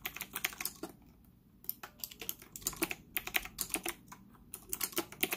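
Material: Plastic.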